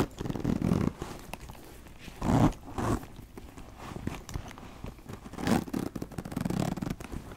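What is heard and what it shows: Fingers with long nails open and close the zipper on a brown leather backpack with gold rings, then tap and scratch the leather surface. Short, dry zipper rasps and scuffs come in bursts over a low, soft rustle. Each sound stops at once, with no ring.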